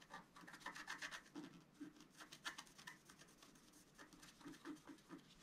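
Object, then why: Black-coated scratch art card scratched with a wooden stylus. A wooden stylus scratches repeated lines into the butterfly-wing area of a flat black-coated scratch art card lying on a table. Quiet, dry, rasping strokes follow one another in quick bursts, with a bright scraping edge, a scratchy tone near 1.7 kHz and almost no low end.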